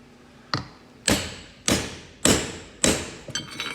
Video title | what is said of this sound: Transfer Case Repair Dodge Ram 2500 Full How To | sounds solid there? Should be good all the way around.